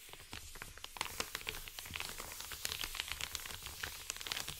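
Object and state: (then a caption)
Paper mailer envelope. A flat, empty Amazon kraft-paper padded mailer is crinkled, then rubbed and scratched with fingertips and short nails. The result is a continuous, bright, crackly rustling with many sharp scratchy ticks over a faint low rumble, holding at a steady level throughout.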